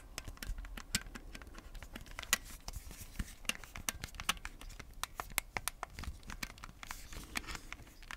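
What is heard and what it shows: Fingertips tap and press the buttons of red and blue plastic Nintendo Switch Joy-Con controllers, set in a black plastic grip and held close to the mic, and scratch along the hand-sized hollow shell. Quick, dry, bright clicks and taps pop out irregularly over a soft, steady scratching rustle. Each one stops at once with no ring.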